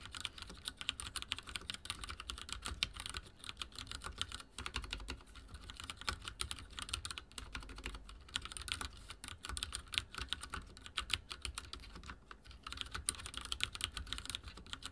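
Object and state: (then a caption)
Mechanical keyboard with plastic keycaps. Fingertips type rapidly on a backlit mechanical keyboard with dark plastic keycaps and a silver frame. The result is a steady, dense stream of short, bright clicks and clacks with a soft low thump underneath, keeping an even pace for the whole clip.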